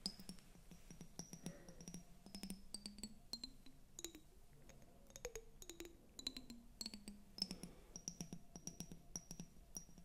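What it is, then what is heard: Glass tumbler with water, tapped with nails. Long acrylic nails tap rapidly on a clear glass tumbler, partly filled with water, held close to the microphones. Many quick, sharp clicks ring with bright, high glassy pings that fade almost at once. A soft low rumble sits underneath the taps throughout.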